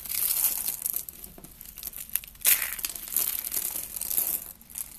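Two hands with long red nails grab thin, brittle, hollow spiral curls of dry blue and black-white soap and crush and crumble them into flakes. The result is a dense, bright crinkling crunch, loudest at the start with a sharp burst midway, then continuing in lighter crackles.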